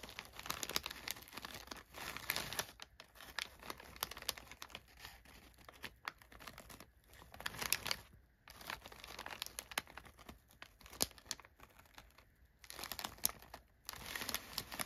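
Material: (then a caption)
Paper. Crumpled brown kraft packing paper in an open cardboard box is pressed and scratched by a spread hand's fingertips. Dense, bright crinkling and crackling comes in bursts, with quieter scratchy pauses between them.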